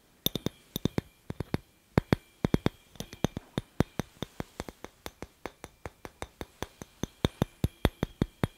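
A hollow, handheld clear glass incandescent light bulb with a metal screw base is tapped and scratched with fingertips and nails close to a microphone. About forty-four sharp, bright glassy clinks come in an uneven rhythm with short pauses, each dying away almost at once against a quiet background.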